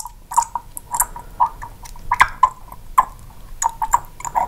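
Long pink acrylic nails tap and click on the dropper top and neck of a small amber glass serum bottle with a black dropper cap, held in the other hand near a microphone that is not touched. A quick, irregular run of short, bright clicks follows, each with a brief glassy ring around 1 kHz that dies away almost at once.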